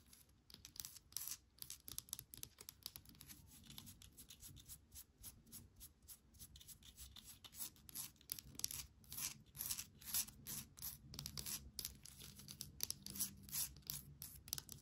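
Long nails tap and scratch on a small, hollowed, weathered driftwood holder that holds an air plant. Quiet, dense, rapid dry clicks and scratchy rasps come through bright and crisp, each hit dying away almost instantly.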